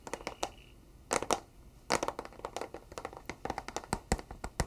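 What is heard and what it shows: A flat, rectangular, hollow and closed white cardboard box is held in both hands and tapped on its face with fingertips and nails. About two dozen quick, dry, hollow taps and light clicks land in irregular clusters, each cut off almost at once. The taps carry bright, crisp edges over a soft, papery body.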